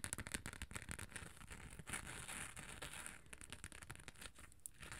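Long nails scratch and tap the textured gold glitter sides and beige top of a small, rectangular, hollow hard cosmetic case. The result is a quiet, steady run of dry, crackly scratching with bright hiss, broken by quick, irregular taps that die away almost instantly.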